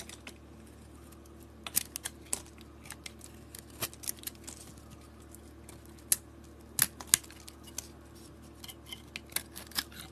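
A utility blade shaves curls off a solid white bar of soap with a red glitter edge. Sharp, bright, crisp scraping clicks come in about twenty short, irregular bursts, each ending almost instantly over a faint steady low hum.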